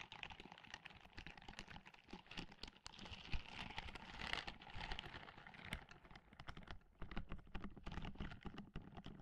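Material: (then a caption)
Silicone. Long manicured nails scratch the bristled palm and fingers of a white and grey silicone dish-scrubbing glove, worn on one hand and held near the microphone. The result is a dense run of quick, dry scratching clicks and taps with a low, soft thump beneath them, with short, fast-fading bursts that swell and ease throughout.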